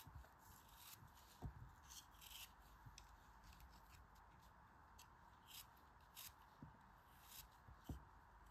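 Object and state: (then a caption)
Kinetic sand block being sliced. A knife slices pieces off a large, solid, hand-held yellow molded kinetic sand shape. Five soft, gritty cuts stand apart from a quiet, steady low hum, each a brief crumbling scrape with a bright hiss that dies away almost at once.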